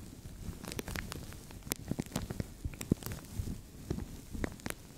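A translucent thin plastic bag stretched over a microphone is scratched with nails and crinkled with fingertips. The result is a steady, low-heavy rustling broken by many sharp, dry crackles and snaps that stop instantly with no ring.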